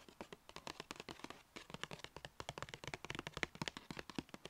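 Long red nails tap fast on the front panel and top edge of a small, hollow, black-and-white striped Sephora paper gift bag. Around thirty quick, crisp, papery taps follow each other, each short and dry with a bright edge and almost no ring, played softly throughout.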